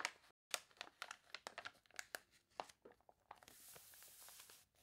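Long nails scratch across the spread of a glossy paper toy catalog, making quiet, irregular, sharp, bright crackles and crinkles with no low end. A close-up rub of the warped pages then turns into a steady, soft, bright hiss that lasts to the end.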